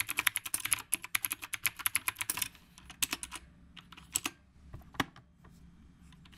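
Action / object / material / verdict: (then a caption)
tap / typewriter-style mechanical keyboard with round plastic keycaps / plastic / none. Both hands type with their fingertips on a retro typewriter-style mechanical keyboard with a dark body and round plastic keycaps. A quick, dense run of bright, crisp clacks fills the first two and a half seconds. The keystrokes then slow into sparser, softer taps with a few sharper clicks.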